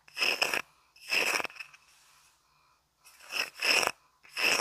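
Fingernails scratch across the engraved surface of a small, flat, solid round wooden coaster held in both hands in the dark. Five dry, bright scratching bursts come with pauses between them, each with a hissy high-end rasp and a faint ringing tone near 2.7 kHz. Soft, quiet rustling fills the longer gap.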